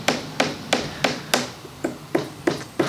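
A finger taps nine times on the wood veneer top of a Depression-era table, over an area where the veneer has come loose. Each tap gives a high-pitched, snare-drum-like thud with a short, higher ring, which marks the veneer there as loose and in need of repair.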